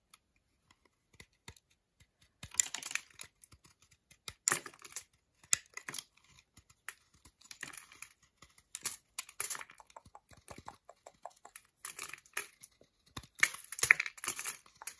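A utility knife blade quickly scrapes and shaves the surface of a solid milk chocolate bar with square segments, held in the hand, curling chips off. The sound is a quiet, irregular run of dry, bright scratching bursts and sharp little clicks with almost no low end.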